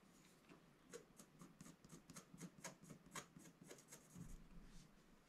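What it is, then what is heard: Scratch-art card being scratched. A wooden stylus scratches the coating off a flat, black-coated scratch-art paper card lying on a table, revealing colour beneath. Quiet, dry, rasping scratches repeat about four times per second at an uneven pace, each short and bright with a soft low body and no ring.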